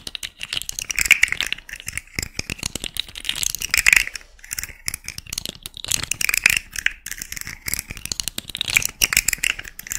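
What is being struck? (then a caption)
Segmented plastic fidget slug toy. A small rainbow segmented plastic fidget slug with hollow, jointed segments dangles from one hand while long nails scratch and flick it. Its segments give off dense, rapid, dry clicks and rattles in bright, crisp bursts centred around 2.4 kHz, with almost no low end. The clatter swells and fades in waves across the clip, with each click cutting off instantly.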